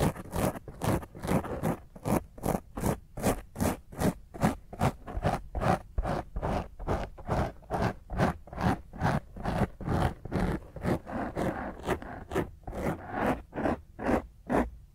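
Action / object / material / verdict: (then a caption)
scrape / foam microphone windscreen / foam / none. Long fingernails scratch aggressively over a black foam microphone windscreen in rapid, fairly steady strokes, about 36 across the clip at roughly two to three per second. Each stroke is a rough, crackly scrape with a heavy low thump and bright hiss, and the strokes cut off quickly into short gaps between them.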